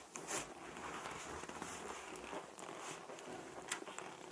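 Fingertips and short nails tap and rub a large, hollow, air-filled light-blue latex balloon. A steady, soft, bright scratching and squeaky rubbing is heard, with light taps that stop quickly.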